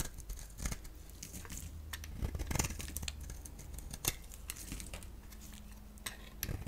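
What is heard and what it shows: A solid oval bar of yellow-core soap, held in the hand, is shaved with a box-cutter blade as flakes fall off. Dry, crisp scraping strokes and bright crackles repeat over a low, steady hum.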